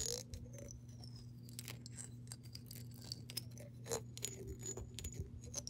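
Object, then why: Glass jar with water. Long nails tap and scratch the side of a clear glass mason jar that is partly filled with water and held tilted. Quiet, sharp clicks and scraping strokes sound over a steady low hum, with bright, thin ringing tones that slide and linger briefly after each touch.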